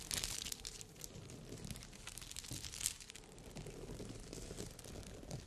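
Long red nails scratch and tap a rhinestone-covered bikini cup with glass crystals sewn onto the fabric. The result is a dense stream of bright, crinkly clicks and scrapes with short ticking taps, all fading almost instantly.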